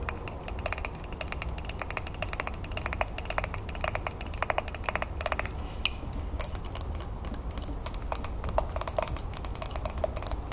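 A green glazed ceramic mug with an infuser is held and turned in the hands while long nails quickly tap its sides and handle. Rapid, bright, clicky taps with very short ring come in dense bursts over a steady low rumble.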